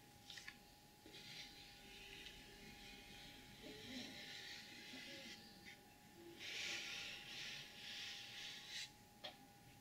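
Long acrylic nails scratch and tap across the lid of a flat, closed, medium-sized, hollow rigid cardboard gift box with a gold glitter surface and BEAUTY BLVD print. Bright, hissy scratching swells and fades throughout, broken by four sharp taps, over a faint steady hum.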